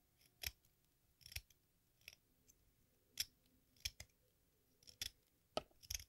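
A metal exacto knife shaves and scrapes the red surface of a small, solid watermelon-slice-shaped piece of sidewalk chalk held in one hand over a pink bowl, with red dust piling up. Short, bright, crisp scraping strokes come at irregular intervals, each dying away almost instantly against a quiet background.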